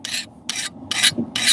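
A file is scraped across the hardened area of a forged steel knife blade in four separate strokes. Each stroke gives a bright, high-pitched rasp that stops quickly, and the file skates over the steel rather than biting into it. This is the sound of a properly hardened blade.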